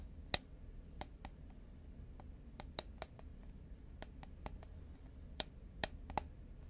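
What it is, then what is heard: Fingernail tapping on a cardboard chip can. Fingernails tap quickly on the side of a tall cylindrical cardboard Pringles can, a composite paperboard chip can, held horizontally in both hands. The taps are sharp, dry, bright clicks that die away almost instantly, spaced irregularly with a few louder ones, over a low steady hum.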